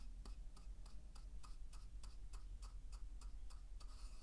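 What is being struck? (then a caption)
Wooden mortar and pestle with salt. A wooden pestle rubs and grinds salt inside a hollow, carved wooden mortar held in one hand. Steady, evenly spaced gritty scrapes with crisp, bright edges tick along at a regular, clock-like rhythm over a low, constant hum at a quiet level.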